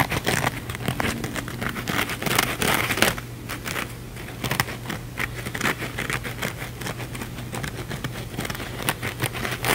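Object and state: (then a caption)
Sponge scouring pad scratched. A small, soft, porous blue kitchen sponge, a cellulose sponge with a blue scouring-pad layer, is held in both hands and scratched quickly and aggressively with fingernails on its scouring side. The result is a dense run of dry, crinkly, crackling scratches with bright, hissy bursts that swell and fade in irregular waves, over a faint steady low hum.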